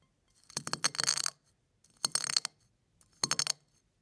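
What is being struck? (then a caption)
Eggshell flakes crushed by fingertips. A pile of eggshell flakes is pressed, rubbed and crushed under fingertips, giving three short bursts of bright, dry crackling and crunching. Each burst is made of rapid tiny snaps with almost no low end, and there is quiet between them.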